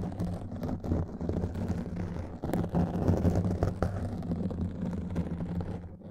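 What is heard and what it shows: Long nails scratch quickly over a black foam windscreen on a microphone, making a dense, muffled, rumbling scrape. The texture stays steady and mostly low, with a few brief sharper crackles poking through before it fades slightly at the end.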